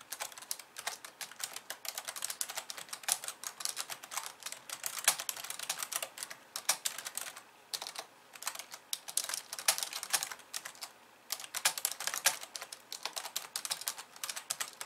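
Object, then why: Plastic computer keyboard. Fast two-handed typing with long painted nails on a pink plastic computer keyboard with white keys. It produces a dense stream of bright, crisp clicks with almost no low end, broken by brief pauses around the eighth and eleventh seconds.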